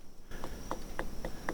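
A series of short, dull knocks on a rainforest tree trunk die away almost instantly, with no hollow resonance, showing the trunk is dense and solid. A steady, high insect-like whine runs underneath throughout.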